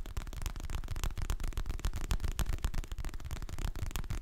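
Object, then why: Hardcover book with glossy cardboard cover. Fingertips and nails tap and scratch the glossy printed cover of a solid, medium hardcover paper book held in both hands close to the mic. The result is a rapid, irregular stream of short, dull, low-heavy taps with almost no ring, mixed with faint, dry scratching.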